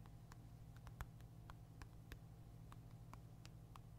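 A black Nintendo Switch console, a handheld-sized hard plastic device, is held upright in one hand while the fingertips and nails of the other hand tap and scratch its back and side. Quiet, short, bright plastic taps and clicks sound at an uneven pace over a steady low hum.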